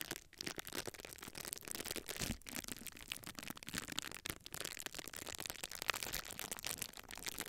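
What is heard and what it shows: A small sheet of clear plastic bubble wrap is held in both hands while fingers pinch and squeeze the air-filled bubbles along its top edge. The result is dense, bright crinkling and crackling with short snaps, steady and close throughout, with a few brief quiet gaps.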